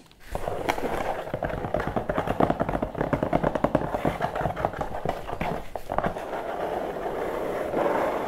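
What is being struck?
Corrugated cardboard box.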